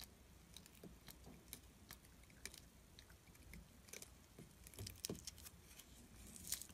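A solid orange glycerin soap bar, held between fingers, has its edge scraped and carved with a small metal tool, building up curled shavings. The result is quiet, irregular crisp scratches and bright clicky ticks over a soft low rumble, with a few sharper scrapes near the end.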